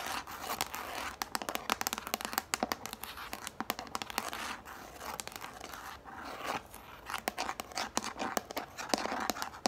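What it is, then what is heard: Plastic plate. Long nails rapidly tap and scratch the underside of a yellow hollow plastic plate held upright. Dense, sharp clicks mix with dry scraping and crinkly rustles, each tap dying out almost instantly with no low boom.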